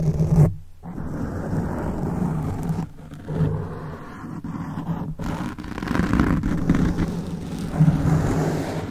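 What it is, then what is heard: Foam microphone windscreen being scratched. Fingertips of both hands scratch the top and sides of a black foam microphone windscreen. The result is a dense, muffled, rumbling scrape concentrated in the low end, with almost no high content. It pauses briefly near the start and again around the three-second mark.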